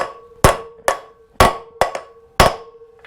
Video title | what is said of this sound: How to change motorcycle wheel bearings - $140 KLE Rebuild Ep 5 | I'm just going to hear that change from a dull thud to a sharp one. That sharp thud means that it's now home and it's properly fully in against the lip at the back, which they sit against.